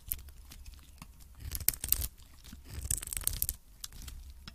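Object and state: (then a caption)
Varnished soap bar scraped with a blade. A metal blade scrapes across the dark varnished face and edges of a solid soap cube, producing dry, crunchy scratching with bright crackles over a low rumble. The scraping swells into two denser, louder bursts before easing back to quieter rasping.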